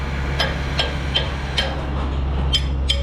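While concrete is being pumped, a steel concrete pump line is tapped six times at an uneven pace, each tap giving a short, dull ring around 3.1 kHz over a steady low rumble. The pipe section that had earlier sounded empty now sounds full, meaning concrete has filled it again after the air was let off.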